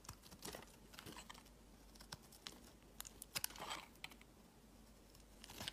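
A utility knife blade shaves curled slices off the edge of a solid, palm-sized green bar of soap held in one hand. The quiet carving gives short, bright scraping strokes and crisp crackling clicks over a faint, steady low hum. The strokes are scattered and irregular, with a louder cluster of scrapes in the middle.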